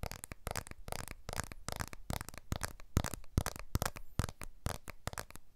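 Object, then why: Smartphone, glass back and aluminium frame. A blue iPhone 12 smartphone with a glass back and aluminium frame, a small, solid handheld device, is held upright in both hands above a recorder while its back and frame are tapped and scratched with fingertips and short nails. A rapid, irregular series of short, dry clicks and soft scratchy taps follows, each dying away almost instantly with no ring.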